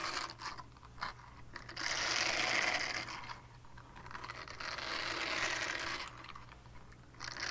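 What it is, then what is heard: Silicone scrubber pad scratched. Long painted nails scratch over the bristled surface of a small, flat, solid purple silicone scrubber pad. The result is a bright, crunchy, rasping scratch that swells in long, loud strokes with quieter, grittier scraping between them.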